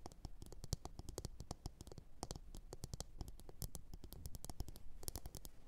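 Long orange nails rapidly tap and scratch a glossy blue ceramic bowl that sits upside down and hollow. The result is a quiet, dense run of short, sharp clicks, each with a dull low body and a bright, crisp tip, mixed with light scratching.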